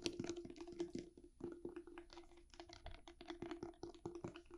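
A small round clear plastic tub with a lid and a white label, holding green slime, is held in both hands and tapped and scratched on its sides and lid with long painted fingernails. Quick, dry, clicky taps follow one another in an uneven stream, each with a faint hollow tone around 340 Hz and almost no ring. Soft scratchy rustles fill the gaps between them.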